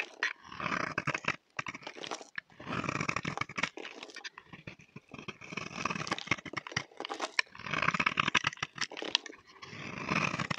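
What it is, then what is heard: Bar soap scraped with a blade. A utility knife blade scrapes a solid, dry green soap bar held in the hand, curling shavings off. Bright, rasping scrapes come in uneven bursts separated by brief pauses, with a rough, growl-like texture.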